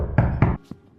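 Two knocks on a newly finished plasterboard partition wall in a bedroom, built to keep TV noise from the living room out. Each knock lands as a dull, low, hollow thud with a short decay, and a faint, softer tap follows. How hollow the wall sounds depends on the spot knocked.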